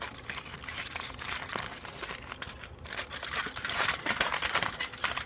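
A thin, hollow, crumpled sheet of aluminium foil, hand-sized to larger, is held close to the microphone, crinkled and scratched with the fingertips and nails, then spread out. Dense, irregular, bright crackling and rustling fills the clip with almost no low end, swelling louder toward the end.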